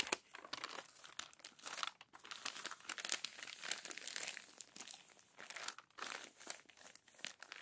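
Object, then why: Glossy magazine paper. Fingertips and long nails smooth and turn the crumpled, crinkled pages of an open glossy paper magazine. The result is a steady run of bright, dry crinkling and crackling bursts with short rustling swells, no low end, and almost no ring after each touch.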